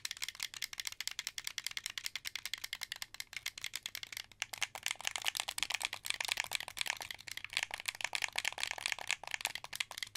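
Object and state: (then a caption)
Plastic game controller. Fingertips press the buttons and triggers of a translucent blue, hollow plastic wired Xbox 360 controller, producing a steady run of about 46 quick, dry clicks. The clicks are bright and rattly, centered around 2.3 kHz, with almost no ring, and grow louder after about 4.5 seconds.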